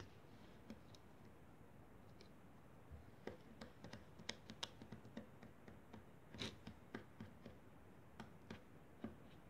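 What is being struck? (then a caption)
Kinetic sand on a foil plate, wooden toothpicks. A pile of crumbled pink kinetic sand sits on a foil plate while wooden toothpicks repeatedly poke and scratch into it. The result is a quiet, steady grainy hiss broken by short, dry clicks and crisp ticks that flash bright and fade almost instantly, growing more frequent after the first few seconds.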